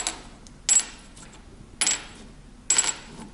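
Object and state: Brass guitar nut, metallic ping.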